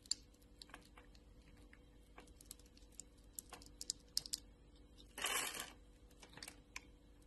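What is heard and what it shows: A hand with long nails holds a solid, translucent orange glycerin soap bar scored in a grid while a utility knife blade scrapes it, breaking off crisp small cubes. About fifteen quiet, sharp, bright clicks and ticks are heard, with a longer rasping scrape just past the five-second mark.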